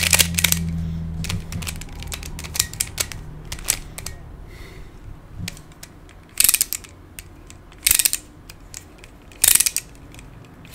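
Fingertips turn the layers of a hand-sized black plastic Pyraminx, a pyramid twisty puzzle with coloured stickers and a hollow mechanism, producing quick, bright, ratchet-like plastic clicks. A low hum sits under the first couple of seconds. Three louder bursts of rapid clicking stand out near the end.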